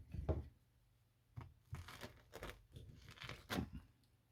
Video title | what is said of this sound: Another Disappointing Discovery, Rotten Floor, Converting the Built In Cupboard Part 1 | I can literally poke the wood out